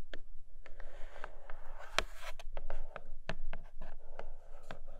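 Long nails scratch and tap on a flat grey cardboard Nomad box with a clear plastic window over a red case. Sharp, quick taps with bright clicks land over a soft, continuous scratching rustle and a steady low hum underneath.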